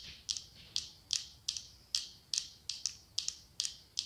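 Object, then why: Glass candle holder. Long acrylic nails tap and scratch the side of a medium cylindrical glass candle holder decorated with autumn leaves, with a candle inside. Fourteen quick, bright clicks, some in close pairs, each trail into a short high scratchy hiss, at an uneven pace of about one every second or less.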